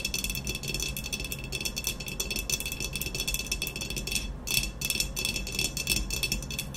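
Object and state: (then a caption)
Ceramic vase. Long nails tap and scratch quickly on the body of an upright, hollow, black textured ceramic vase. A dense, continuous stream of bright clicks and scrapes plays with little pause, with a thin ringing tone near 2.6 kHz. Each tap dies away almost at once.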